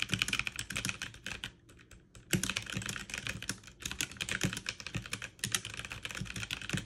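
Fast two-handed typing on a backlit mechanical keyboard with plastic keycaps, struck with fingertips and long nails. Dense, bright, sharp clacks with short thocks underneath run in quick bursts, easing into a brief near-quiet pause before the rapid typing resumes through the end.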